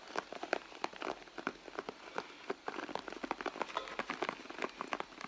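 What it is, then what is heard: Leather handbag tapped with fingertips and nails. Fingertips and long nails tap rapidly and irregularly on a red soft-leather handbag, producing a quiet stream of short, dry taps and clicks. The taps are mostly midrange with a little bright edge, almost no low end, and no ring after each one.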